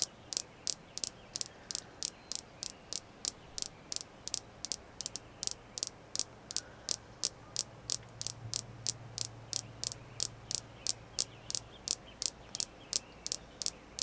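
Steady tapping on a red jasper crystal stone produces about 45 short, sharp, bright clicks in a loose rhythm of roughly three per second. Each tap dies away almost instantly over a faint low hum and soft background noise.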